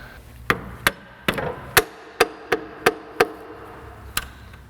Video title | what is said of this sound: Nissan 2.5L Timing Chain Replacement (Part 1) -Fixing it Forward | It's hollow if it's still attached. It's got just a different sound to it.